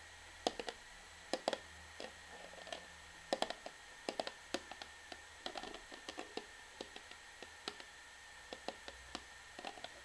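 An orange plastic shampoo bottle is held sideways while long fingernails tap its bottom end in an irregular, uneven rhythm. Each tap is a quiet, sharp plastic click with a short hollow mid-range tone that dies away almost at once. A faint steady hum runs underneath throughout.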